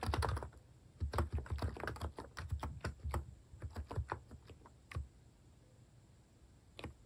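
Fingertips type on the keys near Ins/Del of a plastic mechanical keyboard with cat keycaps. A quick, uneven run of soft, thumpy keystrokes with short clicky edges slows to a few spaced taps, then a pause before one last keystroke.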